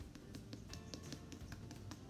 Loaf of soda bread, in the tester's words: when you tap it it sort of sounds hollow